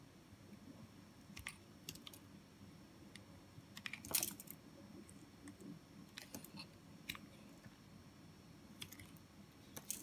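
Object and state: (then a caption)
Bar of soft soap being sliced. A steel utility-knife blade cuts and scrapes thin slices off the end of a pink and white solid bar of soft soap held in one hand, the shavings piling up on a foil sheet. Quiet, dry crisp clicks and scratchy scrapes come in scattered bursts over a low steady background hum, with a louder cluster of crunchy cuts near the middle and another at the end.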